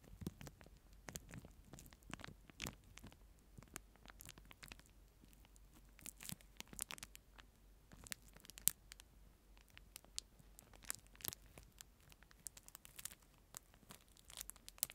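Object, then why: Disposable plastic spoon in a thin plastic wrapper. A clear disposable plastic spoon in a thin plastic wrapper is crinkled close to the mic, then held aside and scratched with a fingertip. It makes quiet, bright crackling and crinkling with rapid, dry clicks and brief louder snaps over a low, steady hum.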